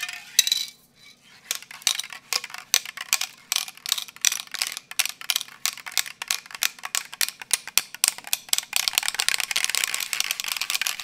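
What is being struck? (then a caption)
Metal aerosol spray can with a mixing ball. A medium metal Autolack acrylic aerosol spray paint can, hollow and holding paint with a mixing ball inside, is held in one hand and shaken and tilted close to the microphone. The ball rattles inside in quick, bright, dry clicks with a brief pause near the start. The rattling turns into a denser, continuous clatter toward the end.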